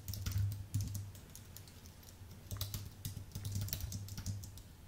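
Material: Aluminium, plastic.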